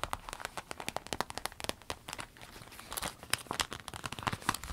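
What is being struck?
Small vinyl zip case.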